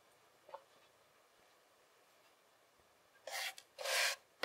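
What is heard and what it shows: A fist-sized solid lump of moldable kinetic sand is squeezed and pressed between both palms and fingers, with a plastic fork lying unused on the table. A faint soft crackle is heard early in a quiet stretch. It is followed near the end by two louder, bright, hissing grainy rasps that stop cleanly.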